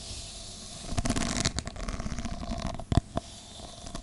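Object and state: Stack of plastic cups.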